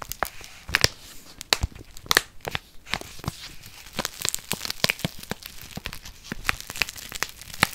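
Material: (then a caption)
Paper. A small, flat kraft-paper instant soup sachet, held in the hand near the microphone, is scratched and crinkled with long painted fingernails. Sharp, bright crackles and tearing-like crinkles pop out in quick, irregular bursts, each dying away almost instantly over a steady, softer papery rustle.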